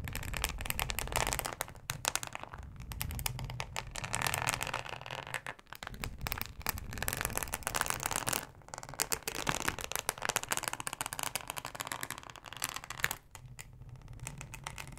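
A thin, flexible yellow plastic cutting mat with a fine ribbed texture lies on fabric while long acrylic nails scratch across it. The result is a dense, continuous crackling scrape with bright, gritty clicks, rising and falling in bursts with brief near-silent pauses.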